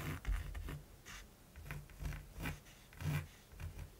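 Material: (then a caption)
Canvas. A mechanical pencil scratches quick hatching strokes across the textured surface of a large, flat primed canvas. Eight short, dry, scratchy strokes are heard, each with a bright rasp over a soft, low thud from the canvas. The strokes stop quickly with almost no ring.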